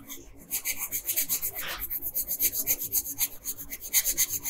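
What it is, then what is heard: Pencil shading on paper. A wooden colored pencil, held in a hand with long pink nails, shades small areas of a thin paper coloring sheet lying flat on a table. It makes about 19 short, scratchy strokes at a quick, slightly uneven pace of around four per second. The sound is a bright, dry, high-pitched rasp with little low end and no ring after each stroke.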